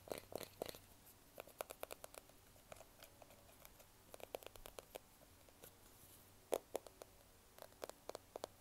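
A small, solid smartphone in a black plastic case is held in one hand while the fingertips and nails tap and scratch the back of the case. About thirty quiet, dry clicks and scrapes come in irregular bursts, each with a short, hollow knock around 500 Hz and a bright edge that stops almost instantly.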